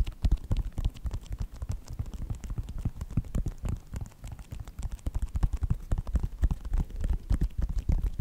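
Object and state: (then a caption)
Synthetic leather sneaker. Fingertips and nails tap rapidly and unevenly on the side and toe of a white Nike sneaker with a synthetic upper. The taps are short, dull, low thuds with almost no ring, coming in a steady, busy patter throughout.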